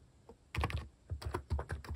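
Fingertips type on the plastic cat keycaps of a Hanmumu mechanical keyboard, producing a quick, uneven run of short, deep, thocky keystrokes. Each press lands as a soft low thud with a faint clicky top and almost no ring.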